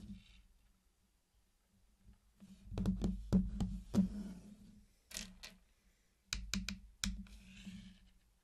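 Fingertips set down and tap the red candy-coated chocolate pieces around the edge of a hexagon pattern of small, round, hard-shelled chocolate candies on a black surface. The result is a series of soft, irregular clicks and light knocks with a low, dull body and a few brief brighter ticks. Each tap dies away almost immediately.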